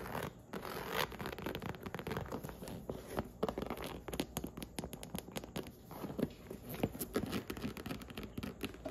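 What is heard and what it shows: Long acrylic nails scratch and tap the surface of a medium pink, snake-textured faux leather handbag with a strap and metal buckles, resting on a red upholstered stool. Its hollow body is opened partway through. The result is a dense, steady run of dry scratching and rasping, broken by many short, sharp taps and clicks.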